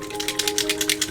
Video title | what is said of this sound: MPC General Lee, from The Dukes of Hazzard, Part 6 | It comes with a shaker in there. As you can hear, there's a ball in there to shake it up.